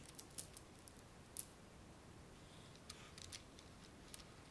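Fingernails scratch and rub across a spool wound with gold plastic beads, held close up. Quiet, bright, dry little clicks and scrapes come in scattered bursts over a faint steady hiss, each dying away almost instantly.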